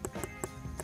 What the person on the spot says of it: si on tape le son du tic tac ça veut dire que le matériau est du fer